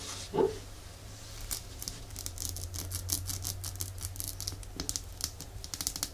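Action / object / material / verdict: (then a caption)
tap / small glass nail polish bottle / glass / none. Long nail tips tap quickly on a small, full red glass nail polish bottle held sideways, making a run of light, bright clicks over a steady low hum. A single duller, louder knock comes near the start before the rapid tapping settles into a quick, uneven patter.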